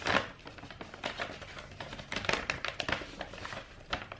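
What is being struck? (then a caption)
Rolled kraft paper wrapping-paper tube. Long white-painted nails scratch and tap along a long hollow roll of brown kraft wrapping paper with a silver star print, held against the chest. Dry, crinkly scratching mixes with quick papery taps in irregular bursts, with some louder taps standing out. The sound is bright and thin with little low end, and each tap dies away almost at once.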